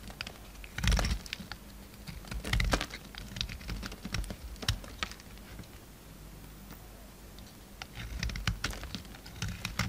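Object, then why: Solid bar of soap cut with a knife blade. A pink solid bar of soap, held in the fingers, is carved with a utility knife blade. Soft, irregular cutting and scraping sounds come with sharp, bright ticks and crisp clicks, while a low rumble runs underneath. Brief louder bursts stand out from the quieter scraping.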